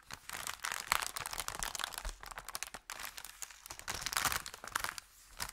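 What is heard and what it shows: An empty, thin brown kraft paper bakery bag is pressed flat with both hands, then lifted and flexed at the edge. It gives a dense run of dry, bright crinkling and crackling with sharp, quickly stopping snaps. The loudness swells and dips as the handling changes.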